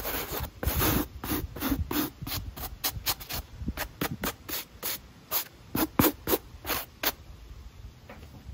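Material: Mesh fabric.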